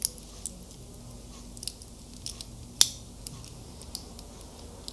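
Fingers click the clasp and fiddle with the links of a small metal wristwatch with a link bracelet held close, making about ten sharp, bright tapping and clicking sounds over a quiet background. The clicks are very short with almost no ring, and the loudest snap comes just before the three-second mark.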